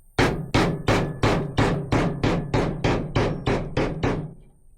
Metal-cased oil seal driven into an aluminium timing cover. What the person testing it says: You will hear it go solid. In other words, when you're hammering it, this will go hard.